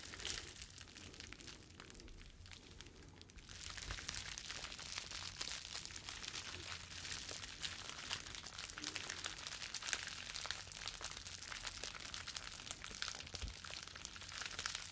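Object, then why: Plastic bubble wrap sheet. A clear plastic bubble wrap sheet is held in both hands, bent and crinkled with the fingertips. Soft, bright crinkling starts quietly, then grows into a louder, dense stream of sharp crackles and crunches for the rest of the clip, over a steady low hum.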